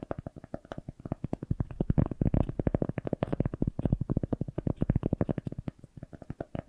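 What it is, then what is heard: Cork coaster. A single solid round cork coaster, held upright between two microphones, is scratched with long nails. It makes a rapid, steady run of short, dry scraping strokes with a dull, low, rumbling body and little brightness. The strokes swell slightly louder in the middle of the clip.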